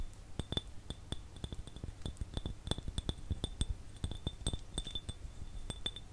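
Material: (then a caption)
Glass. An empty clear glass jar held in one hand is tapped and scratched with fingernails. Quick, dense clicks and light clinks come in an irregular stream over about six seconds. Each one gives a brief bright glassy ping over a soft low rumble.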